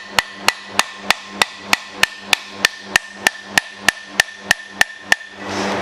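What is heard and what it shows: A hammer and driver tap a steel bearing race into a Jeep CJ Dana 30 hub: 17 sharp, bright metallic taps at a steady pace of about three per second, each with a short ringing tone around 1.8 kHz. The race is still going in, a little crooked on one side and not yet fully seated. A soft broadband rush rises after the last tap.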